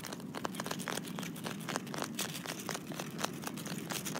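Fingertips and short nails scratch the rough surface of a large, solid, speckled granite boulder sitting in dry leaves. A steady run of dry, crackly scraping is heard, with quick, bright clicks scattered throughout and almost no ring after each one.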